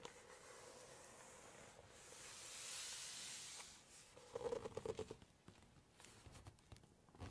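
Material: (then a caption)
Glossy paper. Long nails handle a glossy photo page of a large Chinese cookbook, starting with a soft papery rustle that swells into a bright, hissing sweep as the page slides. Then the nails tap rapidly on the glossy paper in a burst of crisp, slightly pitched clicks, followed by quieter scattered taps and rustles.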